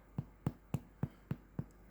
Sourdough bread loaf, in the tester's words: it sounds hollow is there some resonance going on